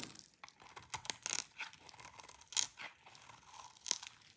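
A utility knife blade shaves a hand-sized solid bar of dry cream-colored soap held in the hands, scraping off thin brittle strips. Irregular bursts of dry, bright crackling and scratching sound with each cut, separated by quieter rustling.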